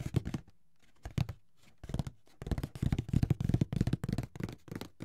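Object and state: Cardboard board game box.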